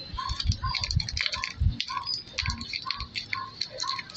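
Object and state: Silicone pop-it fidget toy being popped.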